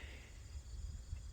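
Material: Nothing is struck.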